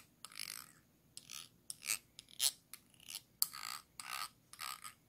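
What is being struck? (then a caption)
Ridged base of a small glass jar. A thin tool scratches and scrapes the ridged base of a small, round, clear glass jar held upside down, hollow and empty. Quiet, bright, raspy scraping strokes come in short, irregularly spaced bursts with sharp ticks between them. There is almost no low end and no ringing after each stroke.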